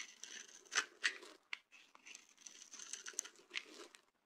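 A hand-sized solid yellow bar of dry soap, held in one hand, is scraped and shaved with a dark-bladed, orange-handled knife held in the other. The strokes come in irregular dry, crunchy bursts with a bright, scratchy crackle, and crumbly shavings come off the bar.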